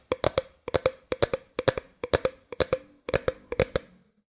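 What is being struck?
Clear plastic drink bottle.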